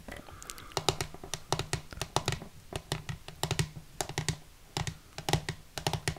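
A small, hollow, clear plastic display case with a dark frame, holding a Dobby figurine, is held in one hand and tapped with long manicured nails on its transparent side panels. Quick, dry clicking taps come in uneven bursts throughout, each with a sharp bright attack and almost no ring. The tapping ends close to the microphone.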